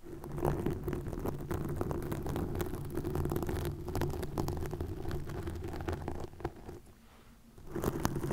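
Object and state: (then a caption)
Plastic mesh netting scratched with nails. Long nails scratch and rub green plastic netting wrapped over a microphone, producing a dense, low, crackling rustle with many quick scraping clicks. The scratching runs steadily, fades to near quiet around the seventh second, then returns louder at the end.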